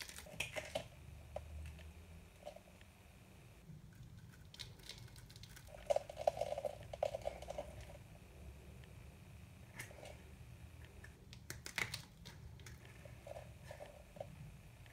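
A small black-handled metal knife cuts and scrapes the edge of a very hard, dry white soap bar held in the hand, shaving off small pieces. Quiet, irregular dry crackles, scrapes and sharp little snaps are heard, with short bright ticks and a brief crunchy burst in the middle, over a faint low hum.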